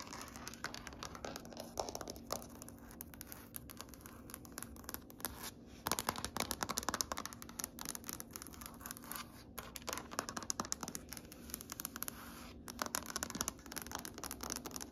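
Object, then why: Wood-grain floor. Long nails tap and scratch across a large, solid grey wood-grain floor. The result is a quiet, dense flurry of short, dry, bright clicks and scrapes with almost no ring, over a faint steady low hum. The tapping bursts grow busier around the middle and again near the end.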